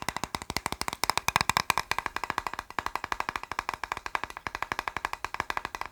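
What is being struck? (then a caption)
Plastic box. A plastic box is tapped quickly in a steady, rapid stream of short, dry clicks with almost no ring. The taps have a hollow, mid-pitched knock centered around 1 kHz with some bright edge. They grow louder and denser around the one-to-two-second mark, then settle back into an even rhythm.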